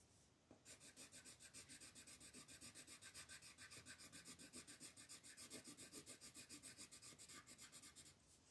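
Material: Paper.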